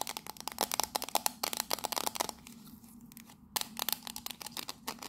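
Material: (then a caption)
Tin-plated steel. Long nails rapidly tap and scratch the side panels of a small, hollow, octagonal printed tin tea caddy with a purple label. The result is a dense run of bright, sharp metallic clicks with a thin ringing tone. Around the middle, the tapping pauses briefly for a softer scrape before the quick tapping resumes.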